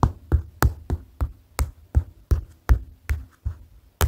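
Fingers tap on a paper notepad for ASMR, giving eleven short, separate taps at a steady, unhurried pace. Each tap is a soft, dull, low thump with almost no high end and dies away almost at once.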